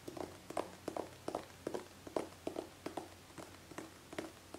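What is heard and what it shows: A hollow gold metallic aerosol hairspray can with a nozzle, held horizontally, is tapped with long painted fingernails. Sixteen quiet, irregularly spaced clicks each carry a short, hollow metallic ring at a mid pitch that fades almost at once.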